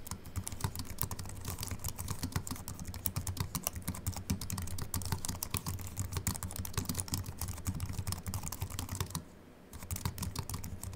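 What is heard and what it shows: Fast two-handed fingertip typing on a slim Apple Mac keyboard with an aluminium body and white plastic keys produces a dense, steady stream of short, bright clicks over a constant low hum. The typing runs continuously, stops briefly around nine seconds, then resumes.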